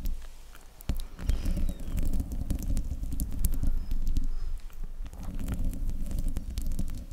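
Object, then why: Metal mesh microphone grille. Fingertips and nails of both hands scratch and rub the sides of the hollow metal mesh grille on a silver desktop microphone. A dense, low, rumbling scrape with many small clicking ticks stays quiet for the first second, then swells louder and continues steadily to the end.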